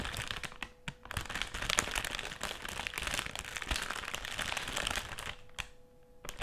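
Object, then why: Plastic foil chips bag. Long nails and fingertips scratch and tap a large, flat, dark plastic foil chips bag that appears sealed and filled as it lies on a table. The result is a dense, bright crinkling with sharp little crackles, dipping briefly quieter around the one-second mark and again near the end.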